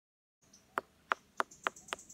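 Five evenly spaced, sharp taps on an unripe jackfruit, each a short dry knock centered around 1.2 kHz that dies away almost instantly, with a faint steady high tone underneath. The fruit sounds very hard, as expected when it is unripe.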